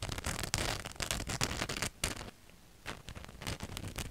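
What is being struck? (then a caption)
Cotton t-shirt with printed design. Long nails scratch a black cotton t-shirt with a glittery white ghost and bat print, hung in front of the mic. Rapid, uneven bursts of bright, crackly scraping carry a low rumble beneath them. The scratching pauses into near silence for about half a second midway, then resumes more softly.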